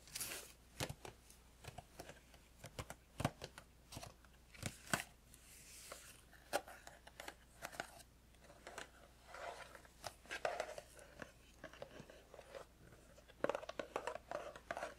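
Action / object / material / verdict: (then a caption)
tap / cardboard tea box / cardboard / none. Fingertips tap the sides of a small cardboard tea box held in both hands, producing quick, dry, papery taps in irregular bursts. Some taps land close together in rapid flurries and others are spaced apart, with occasional brighter, sharper clicks over a quiet low hum.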